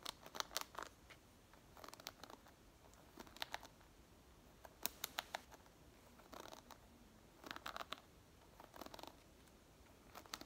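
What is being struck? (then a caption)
Wooden hairbrush with wooden pins. Long nails scratch and strum the wooden pins of a light wooden hairbrush. Quiet, bright, crisp ticking comes in short clusters of rapid clicks and scratchy rustles, separated by near-silent pauses. Each click dies away almost instantly.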